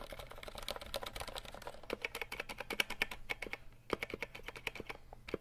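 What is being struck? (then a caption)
Plastic mechanical keyboard keys. Fingertips rapidly tap and press the keys of a compact 60% RGB mechanical keyboard with plastic keycaps and a hollow plastic case, held up close. A fast, uneven stream of short, sharp clacks with a bright, hollow plastic ring around 2.3 kHz, each dying away almost instantly. The typing pauses briefly just before the four-second mark, then resumes.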